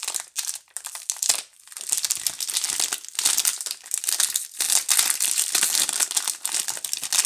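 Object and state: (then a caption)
Plastic film wrap on a soap multipack. A DURU multipack of soap bars in clear plastic film, held in both hands, is picked at, crinkled and torn with long painted nails and fingertips. The result is a dense, bright run of crinkling and crackling with sharp tearing bursts and brief quieter pauses, almost entirely high-pitched with no low end.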